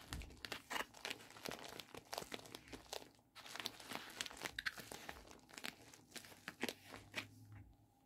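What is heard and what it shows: A medium-size pink poly bubble mailer envelope, hollow and holding contents, is handled and squeezed with fingertips and palms. It produces a steady stream of bright, sharp plastic crinkles and crackles, with a brief lull just after three seconds. The sound fades to quieter rustling near the end.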